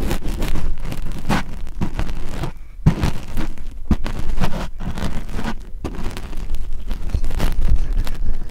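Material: Polyurethane foam.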